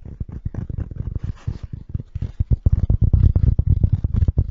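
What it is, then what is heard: Felt hat tapped and scratched. Fingertips with short nails tap and scratch the felt surface of the crown and brim of a medium-sized black wool-felt hat with a hollow crown, held in the hands near the microphone. A rapid, uneven run of dull, deep, muffled thumps fills the clip, broken by a brief soft, airy scratching in the first half. The taps grow louder and denser toward the end.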